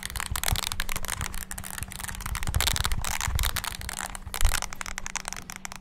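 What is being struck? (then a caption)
Small plastic handheld keyboard with rubber keys. Thumbs rapidly press the rubber keys of a small, hollow, black handheld plastic mini wireless keyboard. A dense stream of quick clicks and soft taps runs throughout, each with a dull low thump and a bright clatter, over a faint steady low hum. The bursts swell slightly near the end before easing off.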